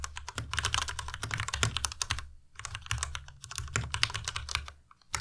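A white compact Ducky Miya Pro mechanical keyboard with plastic keycaps is typed on continuously with the fingertips of both hands. Rapid, bright clacks sit over a soft low thump, with a brief pause near the middle before the typing resumes.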